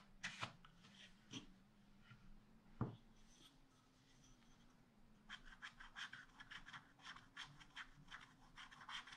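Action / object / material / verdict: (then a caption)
scrape / wax-coated scratch art paper scratched with a wooden stylus / coated paper / none. A wooden stylus scratches a rabbit design into a black, wax-coated scratch art paper page in a spiral pad. A few isolated sharp scratches come first, then a rapid run of short, bright scratching strokes from about halfway through, over a faint steady low hum.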